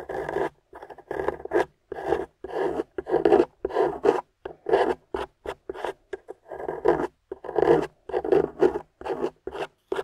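A small metal spatula with a wooden handle, held in a hand with long pink nails, scrapes and carves the dry, chalky beige clay crust off a wedge-shaped, translucent yellow glycerin soap bar lying on a white surface. A steady run of short, dry, rasping scrape strokes follows, with brief pauses between them. A pile of shavings builds up.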